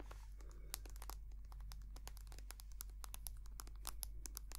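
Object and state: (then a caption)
Plastic squeeze tube. A small white soft-plastic squeeze tube of hand cream, hollow and filled with cream, is tapped and scratched with long painted nails. Quick, sharp, bright clicks and brief crinkly scratches follow one another in a rapid, uneven patter. A steady low hum runs underneath throughout.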